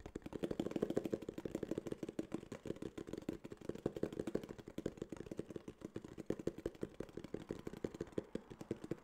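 Fingertips and nails tap rapidly on a small, hollow tan kraft cardboard case. The result is a dense, continuous stream of short, dry, hollow knocks centered in the low-mids, with almost no bright edge. The taps are loudest near the start and continue at an uneven, slightly softer level through the end.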